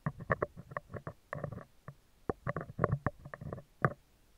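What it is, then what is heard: Metal mesh microphone grille. Metal tweezers rapidly tap and scrape the top and left side of a hollow spherical steel mesh microphone grille. The result is a quick, irregular run of short, dry clicks and scratchy rasps, with a hollow low thump under each touch and almost no ring afterward.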